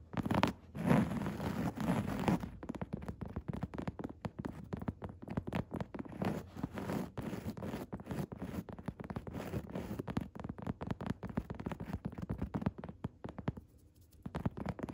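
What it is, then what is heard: Woven fabric chair seat. Long red nails scratch and tap a padded chair seat with coarse woven upholstery fabric, making a dense run of quick, dry scratches and soft taps. The sound stays low and muffled with little brightness, is loudest in the first couple of seconds, and drops briefly near the end before resuming.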